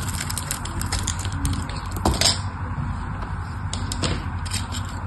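A small metal blade scores a grid into the surface of a solid pink rectangular bar of dry soap held in the fingers, cutting tiny soap cubes. Quick, bright scraping and crackling strokes repeat over a steady low background, with a slightly louder cut just past the two-second mark.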